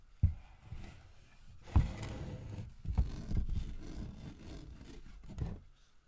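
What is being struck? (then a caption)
Carved wooden bear figurine. Fingertips knock and tap the body of a large, solid carved wooden bear figurine while it is handled. A few dull, low thuds stand out, each dying away almost instantly, with soft rubbing and handling noise in between.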